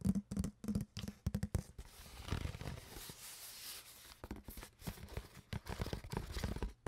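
An empty, hollow, clear plastic water bottle with a cap and a blue label is handled and squeezed with long nails and fingers. Quick clicky taps and scratches give way to a longer crackling crumple of the plastic, then more bursts of tapping and crinkling. The bursts carry a hollow, low-toned knock.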